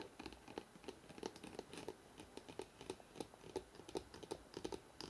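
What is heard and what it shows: Fingertips of both hands fast-tap the spine of a thick hardcover book held in the hands. The result is a rapid, uneven series of short, dry taps with a hollow knock around 370 Hz, each dying out almost instantly over a faint hiss.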